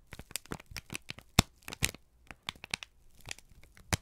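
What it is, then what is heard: Crumpled kraft paper sheet. A single thin, crumpled sheet of brown kraft paper is held in both hands and squeezed and crinkled with the fingertips and thumbs. It makes an irregular series of sharp, dry crackles and crinkles with a bright, papery edge, separated by short quiet gaps. A louder crackle stands out near the middle and another at the end.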